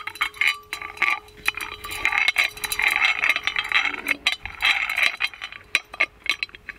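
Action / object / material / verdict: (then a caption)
shake / gold-plated metal lamp with lid on a chain / plated metal / none. A gold-plated metal magic lamp is shaken so its lid, dangling on a small metal chain, knocks against the body. The result is a rapid, irregular stream of short, bright metallic clinks and rattles with almost no ring, bunched into bursts across the clip.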